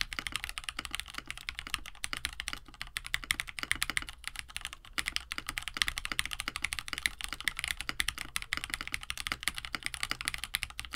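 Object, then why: Plastic mechanical keyboard with PBT keycaps. A compact 65% KBD67 Lite mechanical keyboard, with a plastic case, FR4 plate, lubed KineticLabs Hippo linear switches and blue and white PBT keycaps, sits on a desk mat while both hands type steadily with their fingertips. It produces a continuous, fast stream of short, bright clacks with very little low end. Each keystroke dies away almost instantly.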